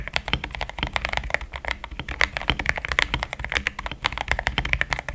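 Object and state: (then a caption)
Mechanical keyboard with plastic keycaps. Fast fingertip typing on a compact pink-cased mechanical keyboard with thick cream XDA plastic keycaps, a solid build. Dense, dry keystrokes click with bright, short attacks over a low thock, each dying out almost at once.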